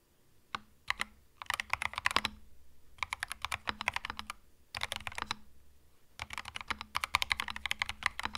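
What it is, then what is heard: Mechanical keyboard with plastic keycaps. Fingertips type on a compact cream mechanical keyboard with plastic keycaps, producing quick bursts of sharp, bright clacks separated by short pauses. Each keystroke is crisp and dies away almost instantly, with a faint low hum underneath.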